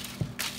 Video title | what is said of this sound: Pei Lin Team Cook-Along: No Knead Bread | can do a little thump test to make sure it's done. Hear that sound? That's a good sound.